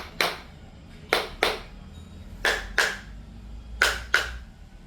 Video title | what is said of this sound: Why Floor Tiles Sound Hollow? - Expert Tips to Fix Tile & Avoid tiling Mistakes | अगर हॉलोनेस है और इस तरह की आवाजें आती हैं टैप करने में